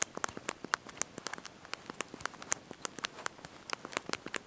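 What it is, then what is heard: Plastic phone keyboard keys being typed on. Thumbs and fingertips press and tap the small backlit plastic keys of a handheld slide-out mobile phone's QWERTY keyboard while typing a message. About 25 quick, crisp, bright clicks patter in an irregular rhythm, each dying instantly with almost no low end.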